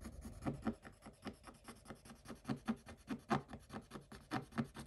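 A wooden stick scratches across a scratch-off coated paper page in a Paw Patrol scratch book. Quiet, irregular rasping strokes repeat in short bursts, with dry, brief scrapes and some brighter scratchy edges.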